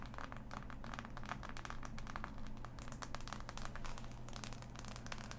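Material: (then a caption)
Cardboard. Fingertips and long nails scratch and tap across the pieces of a large, flat, assembled cardboard jigsaw puzzle. A steady stream of quick, dry crackling taps and scrapes runs throughout at a soft, even level, over a constant low hum.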